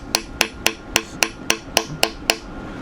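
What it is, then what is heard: Engine seal fully seated flush in its housing. A hammer taps nine times on a new rubber and metal engine seal, still on its preset installer cup that protects the seal lip, driving it into the housing. Each tap is a sharp, bright metallic knock with very little ring. Tapping continues until the sound becomes one of solid contact, meaning the seal is flush, fully seated and perfectly in.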